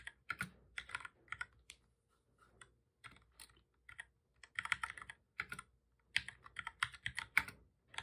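Both hands type steadily with their fingertips on a full-size black plastic keyboard with a hollow body, resting on a desk. The result is bursts of short, bright key clicks centered near 2 kHz. Brief pauses separate the bursts, and each click dies away almost instantly.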